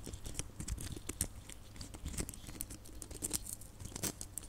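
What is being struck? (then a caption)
Small plastic Christmas baubles with glitter coating. Long nails scratch and tap small, hollow red glitter plastic Christmas baubles held up close, making a steady run of quick, dry crinkly taps and scrapes with bright, crisp clicks over a low rumble.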